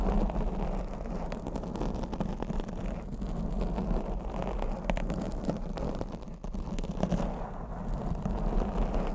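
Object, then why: Foam microphone windscreen. Long blue acrylic nails scratch and grip a black foam microphone windscreen, making a continuous low, muffled rustling and scraping with dense crackly rubbing. The sound stays steady and close, with a heavy low-end rumble and no bright tone.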